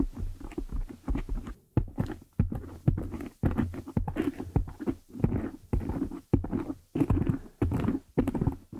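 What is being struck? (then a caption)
Foam microphone windscreen. Long nail tips tap and scratch the top of a black foam windscreen on a desktop microphone. Dull, close thumps and muffled rustling scrapes come in quick bursts separated by brief silences, with the sound heavy in the low end and little brightness.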